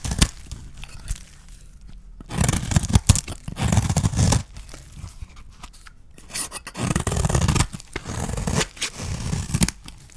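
A metal blade scrapes and cuts across a solid, dry yellow soap bar held in the hand. Bursts of crisp, grainy scraping alternate with quieter pauses and short scratchy strokes. The low, full rasp is heaviest around the middle and later passages.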